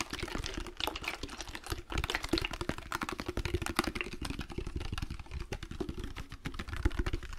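A medium clear glass liquor-style bottle with amber contents is held in both hands close to the mic and rapidly tapped and scratched with fingertips and nails. The result is a dense, continuous stream of quick, dry clicks and taps with a low, hollow thump underneath and bright scratchy edges, each hit dying away almost instantly.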